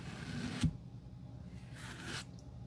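A metal-handled glue brush strokes glue across a solid tan leather sandal outsole held in the hand. It makes soft, breathy swishes over a low hum, with one sharp tap partway through and a second, brighter brushing swish near the end.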